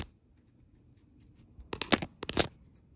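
Long red nails tap and scratch a flat white paper shopping bag with a red ampersand print lying on a table. After a near-silent stretch, crisp, bright papery scrapes and taps come in two quick clusters toward the end.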